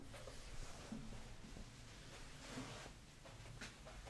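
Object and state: Nothing is struck.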